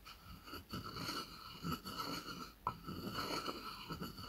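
A wooden pestle is rubbed and knocked inside a light, hollow wooden mortar that is held tilted. The result is a steady scraping, grinding texture with a hollow, ringing wooden tone near 1 kHz and high overtones, broken by a few sharp knocks that die away quickly.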